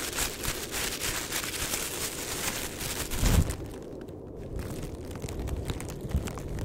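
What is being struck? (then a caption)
Thin plastic bin bag. A thin, flexible, empty black plastic bin bag is held in both hands and crinkled and rubbed with the fingertips, giving a dense, bright crackling rustle over a low rumble. Around the midpoint a louder low crunch stands out, after which the rustling turns quieter and duller with less high crackle.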